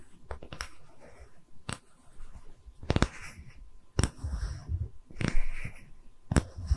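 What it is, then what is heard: Wooden tree-slice stand, tapped with fingernails. A small, round, solid wooden tree-slice stand with visible rings is held in both hands and tapped with long red nails. It gives sharp, short clicking taps with dull low thuds and almost no ring, spaced irregularly. Soft scratchy rustling fills the gaps between the taps.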